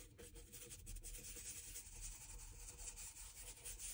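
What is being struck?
Leather shoe sole rubbed with a bristle brush.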